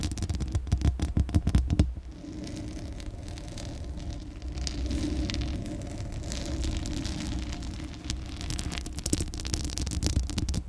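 Long acrylic nails on both hands scratch and rub the hollow metal mesh grille and black metal body of a Blue Yeti microphone. The first two seconds bring rapid, crackly scratching bursts, then the sound turns into a steady, deep, rumbling rub with bright scratchy streaks. Quicker scratches return near the end.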